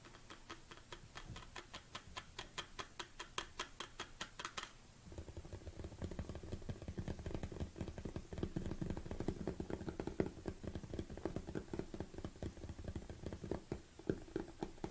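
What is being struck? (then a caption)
Plastic supplement tub. Fingernails tap on the black plastic lid and rim of a large black plastic protein tub. The first five seconds bring a steady run of sharp, bright clicks; after that the tapping turns faster and denser, with a fuller, hollow low thump under each quick tap.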